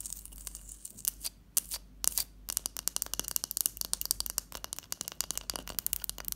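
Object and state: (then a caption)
Ice block. A large solid block of clear ice resting on a teal cloth is tapped and scratched with long fingernails. Sparse clicks in the first two seconds give way to a dense run of sharp, bright taps and scrapes with almost no ring. The sound is crisp and high, with little low end.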